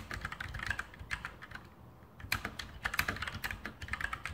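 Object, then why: Mechanical keyboard, plastic keycaps on metal plate. Continuous fingertip typing on a full-size RGB Sharpshooter X2000 mechanical keyboard with Outemu brown switches and plastic keycaps on a metal top plate. Rapid, bright plastic clacks follow one another with very short decay and a brief pause around the middle of the clip. The typing then resumes in quick bursts.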